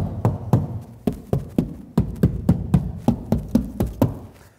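Knocking on a car door's sheet metal fitted with a deadening mat and a Noiseflex foam layer gives a series of dull, low thuds with a very short decay. Each knock dies away almost at once, with no ringing and no rattle, so the door sounds well damped.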